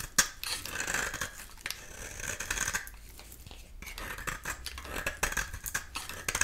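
A solid dry bar of soap with an orange-yellow core and black shell is held in the hand and scraped repeatedly with a metal utility knife blade. The result is a series of crisp, dry, bright rasping strokes with sharp scratchy onsets, a hiss centered around 1.5 kHz, and very little low end.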